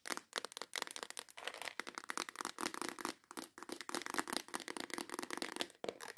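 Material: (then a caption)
Plastic. Long acrylic nails rapidly tap and scratch the lid and edge of a transparent plastic case full of nail files. The result is a dense stream of quick, dry clicks and scraping crackles, bright with almost no low end and no ringing between strokes.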